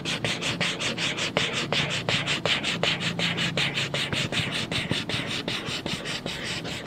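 A coloured pencil or crayon tip draws on a green paper sheet resting on a stack of coloured paper, rubbing and scratching across it in repeated grid strokes while the other hand holds the sheet still. About 22 quick strokes sound in a fairly steady rhythm, each a bright, dry scratching hiss with a faint low hum underneath.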